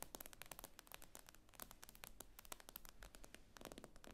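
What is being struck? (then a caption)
Glass-screen tablet. Long acrylic nails tap and scrape across the glossy glass screen of a tablet lying flat on a table. A rapid, irregular series of sharp, bright clicks mixes with faint scratchy scraping, each tap dying away almost instantly over a low, steady background hum.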